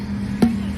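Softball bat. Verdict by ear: Dull.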